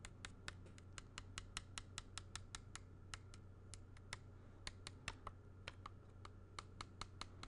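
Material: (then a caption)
Glass. Fingertips tap a small, square, black picture frame held in the hand, striking both the hollow, shallow frame and the glass front over the drawing inside. There are 31 quick, bright, dry clicks in an uneven rhythm, each dying away almost instantly, over a steady low hum.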